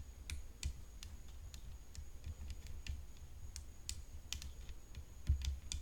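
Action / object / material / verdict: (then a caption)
tap / composite tennis racket frame / composite / none. Long nails tap the hollow composite frame of a rhinestone-decorated tennis racket resting on black cloth. A quick, irregular series of sharp, bright clicks rises over a soft low rumble, each tap dying away almost at once.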